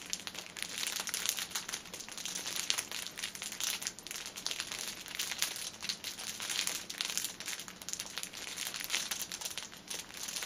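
Fingers squeeze and scratch the ends of a cellophane-wrapped six-pack of pocket tissues resting on a table, working the clear plastic film. A dense, continuous crinkling and crackling fills the clip, bright and hissy with almost no low end, rising and falling in short bursts.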